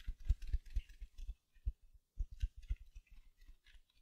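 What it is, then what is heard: Mesh-covered foam sponge scratched. Long nails scratch the surface of a small silver glitter mesh-covered foam sponge held beside the mic. The result is a quick series of short, soft scratchy bursts with low muffled thumps and faint bright crinkly rasps, with a brief pause just before the two-second mark.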